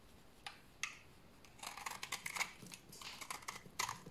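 A solid, dry white bar of soap held in the hand is shaved with a utility knife blade into curled shavings. Quiet, crisp, bright scraping strokes come in short bursts, some isolated and some running together, with a dry rasping texture and almost no low end or ring.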